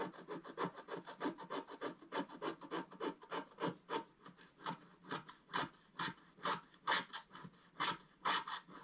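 A wooden stylus scratches the black coating off a flat scratch-art paper page lying on a table, working around the sun at the top left while the other hand steadies the page. Short, dry scraping strokes repeat in an uneven rhythm, each a bright rasp with a mid-range body and almost no low end.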